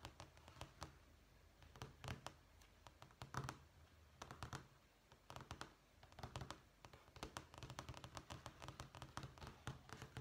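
Long manicured fingernails tap on a beige, small-tile-pattern vinyl flooring sample page, a thin solid sheet in a sample book. Quick, dry clicking taps come in uneven bursts and clusters, each with a soft low thud under a bright click and almost no ring, over a quiet background.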